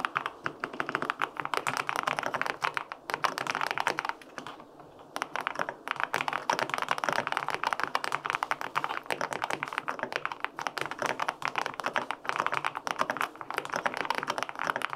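Fingertips type steadily on the plastic keycaps of a white-pink full-aluminum 65% mechanical keyboard with linear switches. A dense stream of short, crisp clacks sits mostly in the midrange, with a brief lull around four to five seconds before the typing resumes.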